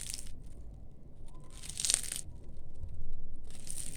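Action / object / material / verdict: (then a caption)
scrape / baked layered pastry (börek) / baked pastry / crispy. Hand-rolled layered börek with white cheese and toasted sesame, fresh from the oven, is broken and crushed up close. Bursts of bright, dry crackling and crunching come in waves over a low background rumble. The pastry turns out crispy and flaky, like puff pastry.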